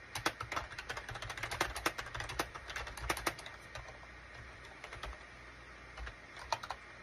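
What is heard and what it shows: A gray SHIPADOO K600 full-size wired USB keyboard, with a gray plastic case and cream, gray and orange plastic keycaps, is typed on rapidly with the fingertips of both hands. Quick bursts of short, bright plastic key clicks fill the first half, then thin out into scattered taps with brief pauses over a low hum.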